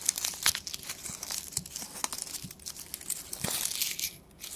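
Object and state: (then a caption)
Construction paper strips being crumpled. A small bundle of thin, flat green construction paper strips, cut from a sheet, is crumpled, twisted and rubbed between the fingertips of both hands. The result is a dense run of bright, dry crinkles and crackles with sharp little snaps scattered throughout, almost no low end, and a brief quieter lull near the end before the rustling picks up again.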